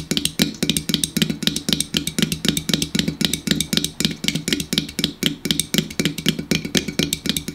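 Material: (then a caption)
Aluminum. Fingertips tap rapidly on the side and top of a standard 12 oz aluminum Hy-Vee Diet Mountain Drive soda can, apparently unopened and full, standing on a wooden table. The result is a fast, steady stream of short, bright metallic ticks over a dull low thump. Each tap dies away almost instantly.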